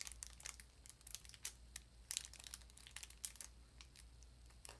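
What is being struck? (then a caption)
Small cardboard sardine box. Long nails crinkle and tap a small cardboard sardine box. A quiet, rapid series of dry, bright crinkles and sharp ticking taps plays over a faint steady low hum, each click stopping almost instantly.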